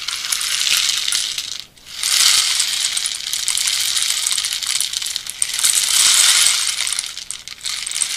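A long hollow bamboo rain stick, painted dark red with carved natural-bamboo bands and filled with small pellets, is held and tilted by hand so the filling cascades inside. It makes a steady, bright, hissing rattle of many tiny pellet impacts, almost entirely high-pitched with no low end. The sound briefly fades near 1.7 seconds and dips again near 7.5 seconds as the stick is turned, then the cascade swells back.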